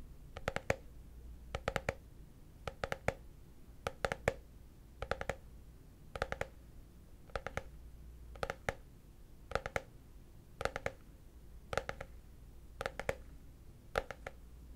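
A hollow, translucent frosted plastic case, held upright, is tapped and scratched with fingertips and short nails. Thirteen evenly spaced bursts of quick, dry clicks each ring only briefly with a hollow mid-pitched tone and a bright edge. A faint low hum sits underneath throughout.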